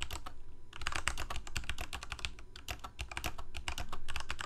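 Fingertips of both hands type rapidly on a full-size Corsair K68 backlit plastic mechanical keyboard with Cherry MX Red switches. The result is a dense, continuous stream of short, bright clacks over a deep low thump from each keystroke.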